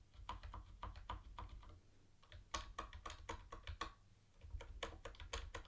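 Fingertips of one hand tap the keys of a mint-green plastic retro keyboard with round white plastic keycaps. Quick, short, bright plastic clacks come in bursts, with brief quieter lulls near two and four seconds, over a steady low hum.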